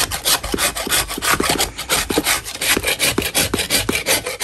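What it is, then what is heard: Chalk block scraped. A large solid block of natural chalk lying in chalk dust is scraped with a metal putty knife held in a purple-gloved hand. Repeated dry, gritty scraping strokes come about three per second, bright and raspy with brief higher squeaks. The scratches sound short, with almost no ring after each stroke.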